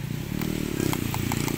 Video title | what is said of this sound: CARA CEK.. ! unit all new xenia DETIL sesuai prmintaan viewer berapa hari lalu..@empatputrimobil | bunyinya beda teman-teman, masih kaleng